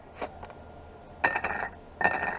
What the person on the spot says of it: See how that's a little higher, a little tinny sound?